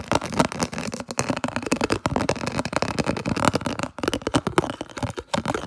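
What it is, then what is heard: Plastic food container lid being scratched. A thin, hollow, translucent red round plastic food storage lid is held close and scratched quickly with long nails and fingertips. The result is a dense, fast run of crackly, papery scratches and taps with short dry bursts and almost no ring.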